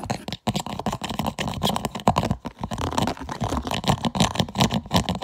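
Fingernails scratch and tap quickly on the ribbed, textured lid of a clear plastic food container with an orange lid and an orange "PUSH" vent button. A dense run of short, dry clicks and scrapes follows with brief gaps, each sound dying away almost at once.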